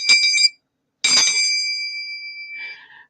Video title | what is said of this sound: Attic Avenue Live Sale - Tuesday 04/15/25, 6 pm CT | it's really got a nice ring to it